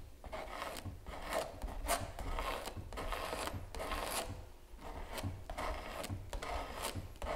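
A palette knife held in the fingertips scrapes and spreads gel across a large stretched canvas giclee print, with taut canvas over a solid wooden frame, lying flat on a table. Repeated rasping strokes with bright, breathy texture rise and fall, separated by brief pauses, over a steady low rumble.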